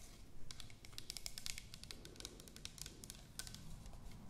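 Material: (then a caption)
Plastic. Long nails tap and scratch the body of an orange plastic toner bottle with a white cap, giving a quick run of sharp, bright clicks and short scrapes over a low, steady hum. The taps are very dry and die away almost at once.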